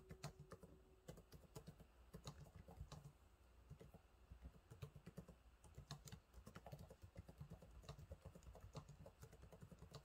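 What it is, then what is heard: Plastic laptop keyboard being typed on. Fingertips type steadily on the low-profile plastic keys of a silver laptop keyboard, producing a quiet, continuous stream of short, dull clicks and taps. The taps are soft and muffled, weighted toward the low end, and each one dies away almost instantly.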